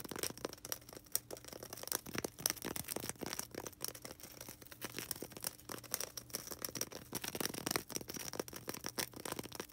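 Long red acrylic nails rapidly scratch and tap a small solid white polystyrene foam ball. The result is a dense stream of bright, dry crackling and scraping clicks with no ring, over a faint low hum.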